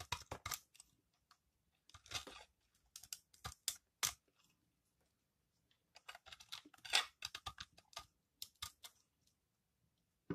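A metal knife blade shaves and cuts crunchy layers off a solid green dry recycled soap bar held in the hand. Bursts of bright, dry scraping and crisp crunching come in quick clusters with short silent gaps between them.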